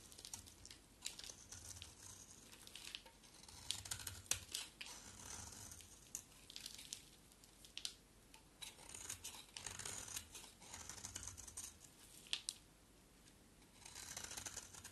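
A utility knife blade scrapes and carves a solid green bar of soap, producing shavings. Quiet, bright, crisp scraping strokes come in uneven bursts, with short sharp cuts and brief pauses between passes. Each cut ends quickly with almost no ring.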